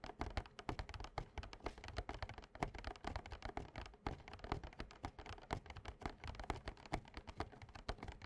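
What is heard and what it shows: Fingertips and short nails of both hands tap quickly on a small, printed, glossy cardboard Yu-Gi-Oh Slifer structure deck box filled with cards, lying flat on a playmat. The result is a dense, uneven patter of short, dull hollow thuds with a little clicky tick and almost no ring.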